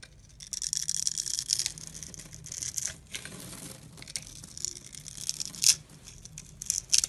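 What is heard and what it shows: A blade with a pink handle scrapes tiny cubes off a palm-sized, solid, translucent green glycerin soap bar that is held in the hand and scored in a grid. The scraping comes as bright, crisp, crackling bursts with short gaps between them, and a few sharper snaps stand out near the end.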